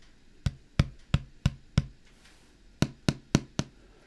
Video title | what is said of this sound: Stream: Time with Chris from Airwindows | that's the ns10 woofer